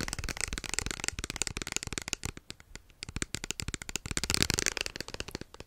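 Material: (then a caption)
Plastic. Fingertips and nails rapidly tap and scratch a small, hollow white plastic lotion bottle with an orange cap, held close to the mic. The dense, crisp clicks and bright scratchy rasps come in quick bursts, ease off briefly in the middle, then build back up louder.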